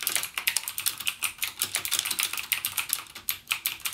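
Fingertips type rapidly on a backlit plastic mechanical keyboard with clicky Cherry MX Blue switch keys. A fast, steady stream of sharp, bright clicks, each dying away almost instantly, with almost no low end.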